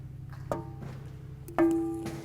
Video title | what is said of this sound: Preflight Inspection AA5 Series | hear that nice ... not a dead sound ... if you do this and don't hear that nice ringing you may have a crack somewhere in the prop